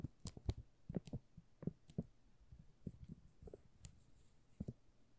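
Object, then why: Soap bar in thin plastic film. Fingertips scratch and tap the thin plastic film on a solid pink "Rose" soap bar held in the hands. Fourteen quiet, dry taps and crinkles sound, each dull and low with a brief bright crackle on top, dying away almost instantly.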